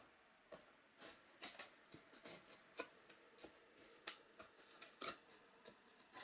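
A thin pointed stick scores and scratches along the cells of a white, hollow, molded polystyrene foam packaging tray. It makes a series of short, dry, squeaky scrapes with bright, high hiss, separated by quiet gaps. The surface is not in its normal state.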